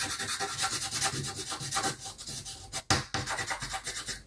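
A blue chalk stick is rubbed back and forth across the top area of a flat, solid black chalkboard sheet to colour in the sky. It makes a steady run of dry, bright, scratchy rubbing strokes that rise and fall in quick rhythm. One louder, sharper stroke comes near the three-second mark before the back-and-forth rubbing resumes.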